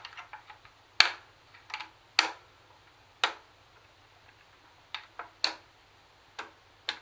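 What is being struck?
Plastic portable CD cassette player.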